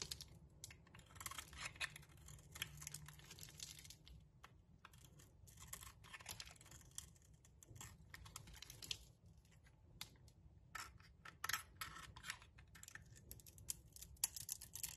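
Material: Soap.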